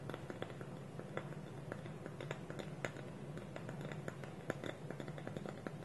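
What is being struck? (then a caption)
Small wooden bowl with wooden lid. Fingernails tap and scratch on a small, hollow, polished wooden bowl whose wooden lid is held against it with both hands on a table. Quick, dry clicks and taps with almost no ring come over a soft, steady scratching and a low background hum, all at a quiet level.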